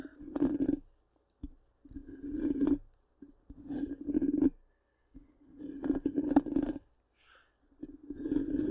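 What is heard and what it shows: Long pink-painted nails scratch the hollow, black, round metal mesh grille of a large microphone. Several separate bursts of rough scraping are heard, each with a hollow low-mid hum and a bright, hissy edge, with short quiet gaps between them.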